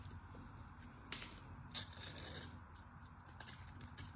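A solid pink glycerin soap bar, held in the hand, is scored and chipped with a small metal blade. Quiet, crisp scraping and sharp clicking chips come in irregular bursts over a steady low rumble, with a few brighter snaps standing out.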